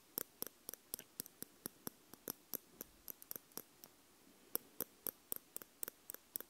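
Two metal tweezers, one held in each hand by fingers with purple nails, tap and scrape on the two small, hollow, round metal capsule housings with red rings on the plastic body of a Tascam X-Y field recorder. About 25 quiet, sharp metal-on-metal clicks ring bright and stop almost at once, with a brief lull near the middle before the tapping resumes.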